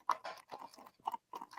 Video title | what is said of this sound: Discussion & Drinks with BIMP: The Egg Nog Episode, Brandy vs Bourbon, Holiday Movies and More! | that's just liquid in there. That's just liquid. Yeah. That's how thick that is.